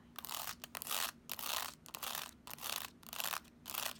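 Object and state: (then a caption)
Plastic graphing calculator. Long nails tap and scratch on the keys, screen and plastic casing of a black plastic graphing calculator held upright. The result is a series of quiet, bright, hissy bursts of dry clicking, repeating at an uneven pace with short silent gaps between them.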